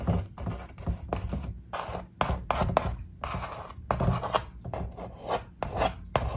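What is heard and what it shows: Long acrylic nails and fingertips tap and scratch across a large, flat poster-board vision board covered in paper cutouts and stickers. It makes dry, raspy scratching bursts and quick papery taps that stop dead with no ring, separated by short pauses.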